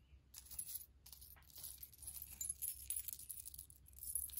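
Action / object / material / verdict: shake / pile of small silver-tone metal charms / metal / none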